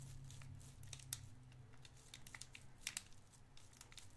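A small clear cellophane wrapper around a white disc candy is twisted and crinkled with the fingertips of both hands. Quiet, dense crackling is broken by sharp, bright snaps over a steady low hum, with the loudest pops near the middle and toward the end.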